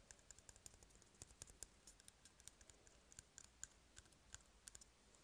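A small, empty, hollow brown cardboard toilet paper tube is held in one hand and tapped and scratched with fingertips and short nails. About thirty quiet, dry, bright clicks and light scratches come in an irregular stream. Each is very short and stops with no ring over a faint low hiss.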